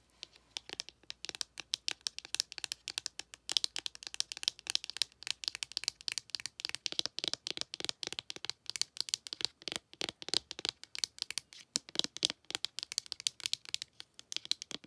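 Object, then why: Cardboard eyeshadow palette tapped with a fingernail. A long acrylic nail taps and scratches rapidly on a small, flat, open pink ColourPop eyeshadow palette, a cardboard case holding nine pressed powder pans with a glittery lid insert. Dense, dry, bright clicks and crinkly scratches come in quick, irregular bursts, each dying out instantly with almost no low end.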